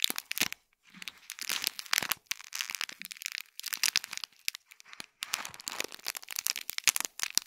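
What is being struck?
Small foil-wrapped gift box in plastic film.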